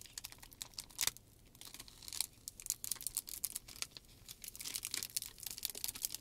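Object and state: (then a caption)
Plastic shrink wrap film. Both hands unfold and smooth a large, thin, clear plastic shrink wrap sheet while the fingers crinkle and rub the film. The result is a quiet, steady stream of sharp, bright crackles and snaps with almost no low end. Short pauses come between bursts of denser crinkling.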